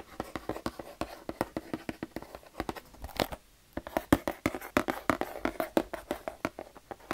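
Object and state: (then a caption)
Cardboard box tapped. Fingertips and nails tap rapidly on a medium-sized, hollow, printed cardboard Lego City race car set box, probably sealed and full of parts, held close. About forty short, dry, hollow taps land in an uneven rhythm with almost no ring, pausing briefly midway before resuming.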